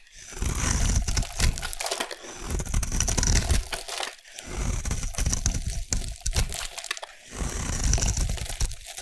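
A solid rectangular bar of dry peach soap, held in a hand with dark painted nails, is scraped and carved with a metal blade, peeling off crunchy curls. The sound is a dense, low-heavy crunching and crackling scrape with a thin bright edge, coming in long strokes separated by brief pauses near 4 and 7 seconds.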